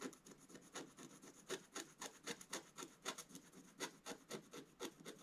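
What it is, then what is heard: Scratch-art paper being scratched. A wooden scratch stylus scratches lines into the black coating of a flat, coated scratch-art paper page held flat by one hand. The result is a quiet, somewhat uneven run of short, dry, bright scratching strokes, roughly four per second, each with a raspy hiss and almost no low end.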